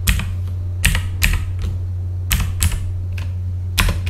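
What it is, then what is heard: Mechanical keyboard with plastic keycaps. Fingertips of both hands type on a full-size backlit mechanical computer keyboard with plastic keycaps. Sharp, bright clacks come in uneven bursts over a steady low hum.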